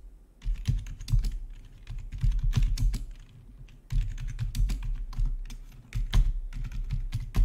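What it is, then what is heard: Plastic membrane keyboard being typed on. Fingertips type on a full-size black plastic RGB backlit membrane gaming keyboard with a hollow body. The keys give a steady stream of short, dull, low-heavy taps with a hollow thump, running in bursts with brief pauses around 2 and 3.5 seconds.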